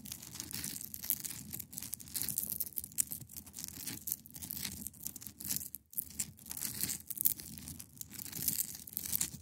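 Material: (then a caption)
Ice. Long pointed nails scratch across the top of a large, solid, clear ice block resting on a fabric surface. The result is a bright, dry, raspy scraping that comes in quick strokes with brief pauses between passes, under a low rumbling undertone.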